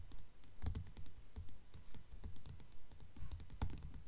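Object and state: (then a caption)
Hardcover book with paper dust jacket. Long nails tap rapidly on the glossy paper dust jacket of a blue Mockingjay hardcover book lying flat on a table. The taps are soft, dull and low-pitched, coming in a quick, somewhat uneven patter with short, dry decays and some faint bright clicks on top.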